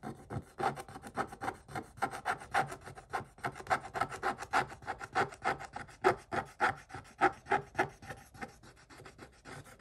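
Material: Coated paper.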